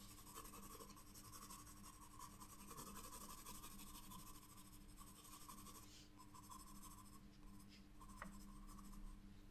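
A pencil tip draws lines on the lower part of a flower on a white sketchbook paper page, scratching lightly. The result is a quiet, continuous soft scratch over a steady low hum.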